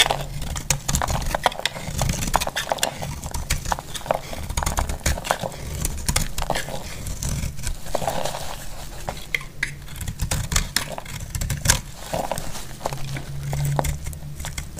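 A solid, dry yellow bar of soap held in the hand is shaved with a utility blade. The clip is a steady run of short, crisp scraping and crackling strokes with bright flecks over a low, constant hum. Each stroke dies away almost instantly.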